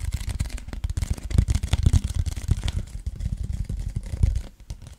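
Fingertips and nails tap and scratch along the side of a tall, hollow, cylindrical cardboard Pringles chip can with a printed wrapper, held horizontally near the mic. A rapid, uneven stream of short, deep, hollow thumps is heard, with faint scratchy rustling between them. The taps die away almost instantly and fade a little toward the end.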